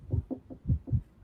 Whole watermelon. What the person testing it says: that also sounds like it's ready to go